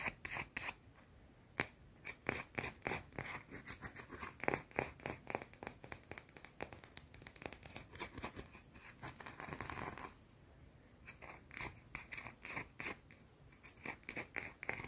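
A small, round, flat, solid white soap bar is scratched rapidly with long dark teal nails. Quick, dry, bright scratching bursts come in an irregular fast flurry, with a steadier continuous rasp midway before the short scratches resume.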